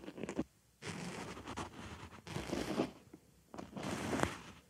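A white foam makeup sponge resting on a microphone ear is scratched around and inside its hole with a wooden stick. Three bursts of dry, crackly scraping and rustling are separated by short quiet gaps, and a few sharper crunchy scratches stand out.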